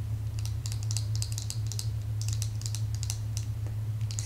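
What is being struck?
Plastic claw hair clip.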